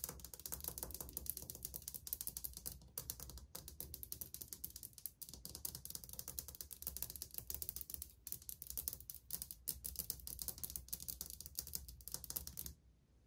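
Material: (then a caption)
Ceramic. Painted fingernails of one hand, with a ring on a finger, drum rapidly against a solid wall of old white glazed ceramic subway tiles. The result is a dense, fast run of short, bright, clicky taps with almost no ring, over a steady low hum. The tapping stops abruptly just before the end.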